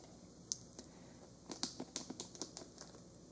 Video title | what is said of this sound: ASMR Therapy Session Sleep Clinic Visit Role Play Sleep Hypnosis | sounds that it makes when you tap on it or scratch